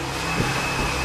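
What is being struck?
Nothing is struck.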